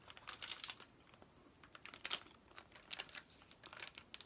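A thin, hand-sized Trolls activity play pack, a flat plastic-wrapped packet with paper contents, is held up and handled with fingertips and nails. The plastic wrapper crinkles and scratches in quiet, bright, dry bursts with almost no low end, stopping short with no ring between touches.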